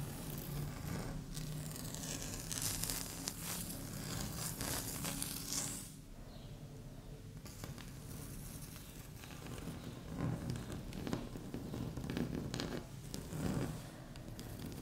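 Long fingernails tap and scratch across a flat, solid, speckled beige laminate tabletop. Bright, dense scratching and rustling comes in bursts over a steady low hum, quiets for a stretch in the middle, then resumes with sharper taps and scrapes.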